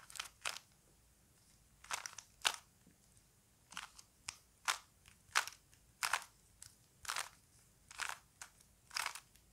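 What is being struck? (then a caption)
Plastic puzzle cube. A small plastic Rubik's cube is held in both hands while the fingers twist its layers, producing a quiet series of short, crisp plastic clicks and crunchy rubbing of the pieces. The bursts are bright and dry, with no low end and no ring, separated by brief silences.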